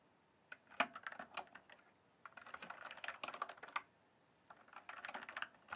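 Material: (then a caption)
Plastic. Fingertips type and tap on a full-size RGB-backlit plastic mechanical computer keyboard, its hollow keys set on a solid base. Three bursts of quick, sharp, bright clicks are separated by short pauses, each keystroke dying away almost instantly with no low thump.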